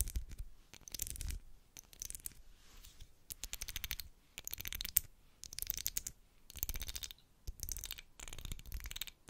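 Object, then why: Wax pillar candle. Long black acrylic nails scratch along the ridges of a solid, medium pink twisted-ridge wax pillar candle. The sound comes in repeated bursts of fast, dry, clicking scrapes, bright and close, with short quiet gaps between strokes. Each tick stops dead with no ring.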